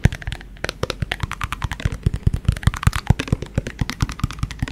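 Fingertips and nails tap and scratch the outer wall of an empty-looking, translucent yellow plastic cylindrical shaker bottle held sideways near the microphone. About thirty quick, dry, hollow taps come in rapid bursts with a low, thumpy body and very short decay. Faint scratchy rustles fill the gaps between the taps.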